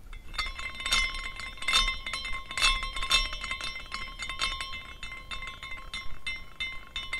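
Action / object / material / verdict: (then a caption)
shake / small glass carousel figurine with hanging glass horses / glass / none. A small decorative glass carousel figurine spins after a push from the fingers, its hanging glass horses clinking against the glass parts. The result is a light, irregular tinkling of bright, short chimes over a sustained ringing tone near 1 kHz, with louder bursts as the horses swing together.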